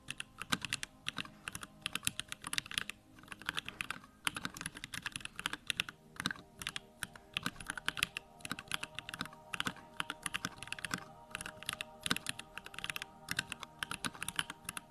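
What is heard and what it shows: Two hands type continuously with their fingertips on a compact 65% Bakeneko65 mechanical keyboard with Durock lavender switches, pink plastic keycaps and a grey case, resting on a wooden desk. Rapid, bright, clacky key presses follow one another closely, each ending almost instantly, with very little low end.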